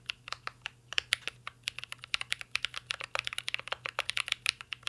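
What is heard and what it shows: A full-size mint-green Cyberboard R3 mechanical keyboard with a metal case, plastic keycaps and Holy Panda switches rests on a desk while two hands type steadily with their fingertips. The result is a fast, uneven stream of sharp, bright clicks and clacks with almost no low end, each keystroke dying away almost instantly.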